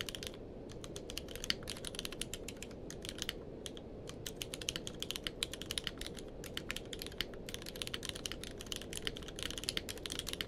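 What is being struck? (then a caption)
Mechanical keyboard with plastic keycaps. Both hands type with their fingertips on a grey-blue tenkeyless mechanical keyboard with plastic keycaps. A steady run of quick, bright, clacky key strikes centres around 3 kHz, each dying away almost instantly. The typing sits over a constant low, muffled background noise.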